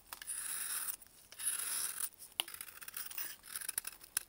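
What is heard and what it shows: A metal blade shaves thin flakes off a solid white block of dried baking soda held in a gloved hand. Long, bright, dry scraping strokes alternate with short pauses, then give way to choppier, crumbly scraping with a few sharp clicks.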